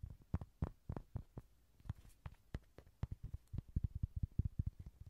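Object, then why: Inflatable vinyl ride-on toy horse. Someone taps on a Rody toy, an inflatable vinyl ride-on horse, producing about two dozen soft, dull, low thumps with almost no ring. The taps come in an uneven rhythm, sparse at first and then quicker and denser toward the end.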